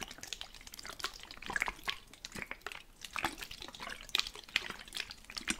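A plastic spray bottle with water inside is shaken, and the liquid sloshes and splashes in quick, irregular bursts. The sound is bright and high, with short, crisp splashes and little low end.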